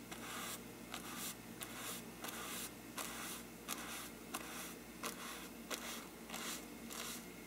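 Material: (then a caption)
Paper. A small brush held in the fingers is rubbed and scratched across a large, hollow, bell-shaped faux-parchment paper lampshade. About eleven bright, papery brushing strokes come in a loose rhythm over a steady low hum, each a hissy scrape with a brief resonant ring from the shade.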